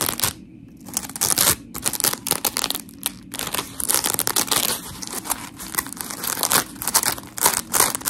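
Long pink nails scratch a blue-and-white smiley scrub sponge of coarse polymer foam, and hands squeeze it. The result is dense, gritty, bright scratching and crinkly squishing in uneven bursts, with brief quieter gaps between strokes.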